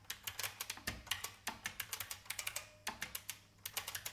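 Long painted fingernails tap and press the keys of an old beige IBM full-size plastic mechanical keyboard with a hollow case. About 26 quick, bright, clacky keystrokes sound in an uneven typing rhythm, each dying away almost at once, with a brief pause near the middle.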